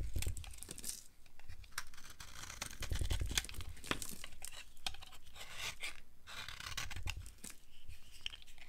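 A solid, pale yellow, oval bar of dry soap is held in the hand and scraped with a utility knife into powder and shavings. The clip is a steady run of dry, crisp scraping and tearing strokes with bright crunchy detail and a low thump underneath. Each stroke dies away almost at once, and there is no speech.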